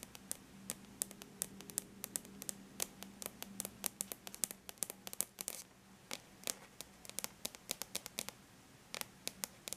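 Long bare natural nails lightly tap the aluminum lid of a laptop. Dozens of quick, bright, dry clicks sound in an uneven rhythm with almost no ring, over a faint low hum.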